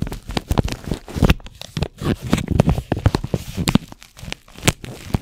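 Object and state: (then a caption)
Paper tea bag packet. A single small, flat, hollow Caramel Apple Pie paper tea bag wrapper with a sealed tea bag inside is held in both hands and crinkled and rubbed with the fingertips. The result is a steady stream of dry, crackly crinkles and tearing-like rustles, with short sharp bursts and uneven rises and dips. The sound is close and mostly low in tone, with no ring after each crackle.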